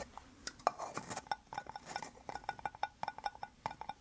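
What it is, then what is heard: Hollow plastic cups joined rim to rim. Two small white plastic cups joined rim to rim into a hollow, empty cylinder, still low in the middle, are held in both hands and tapped and scratched with fingertips and nails. A quick, uneven series of short, dry clicks and taps rings hollowly around 700 Hz, with faint scratchy rustles between the hits. The sound is quiet and close.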